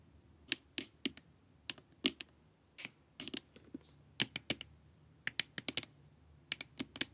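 Long nails tap the sides and forehead of a glossy, hollow plastic LED face mask. The taps come in an uneven run of sharp, bright, clicky hits with a faint low knock beneath. Each one dies away almost at once over a quiet background.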